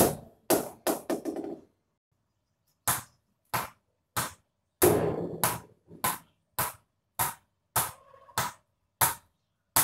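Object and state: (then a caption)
Kashmir willow cricket bat with a good ping off a tennis ball. A tennis ball bounces repeatedly off a Kashmir willow cricket bat, giving a series of sharp, bright ping-like knocks with short ringing tails and brief pauses between them. The bat's response to the tennis ball is very good, and it suits tennis-ball play.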